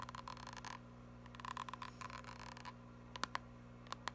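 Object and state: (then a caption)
Plastic cosmetic squeeze tube. Long nails tap and scratch a small, filled white Lancôme plastic cream tube, making soft, quick clicky bursts and scratchy rustles in clusters. Faint ringing near 1 kHz runs through them over a steady low hum, and a few sharper, isolated taps close the clip.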